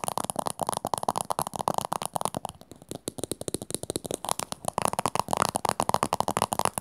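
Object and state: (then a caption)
Plastic cylindrical container, tapped and scratched. Long nails rapidly tap and scratch a small teal plastic cylindrical container, likely hollow. Dense, dry clicks with a hollow mid-range knock run throughout, easing into softer scratching for a moment in the middle before the quick tapping picks back up.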